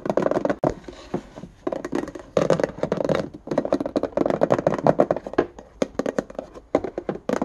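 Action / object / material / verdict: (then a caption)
tap / plastic index card box / plastic / none. A small, hollow, empty index card box with a ribbed white plastic lid and a clear plastic base is held in both hands and tapped and scratched with fingertips and nails on the lid and base. Rapid bursts of dry, hollow plastic taps with a mid-range knock alternate with quieter scratchy stretches and bright clicky nail strikes. Each tap dies away almost instantly, with no ring.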